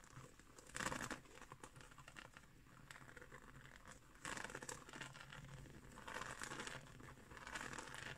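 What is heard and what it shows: Long nails scratch along the coils of a round, flat, coiled woven straw (seagrass) trivet resting on a wooden table. The result is a dry, crinkly scratching with a steady low rustle and louder, brighter bursts near the start and again through the second half.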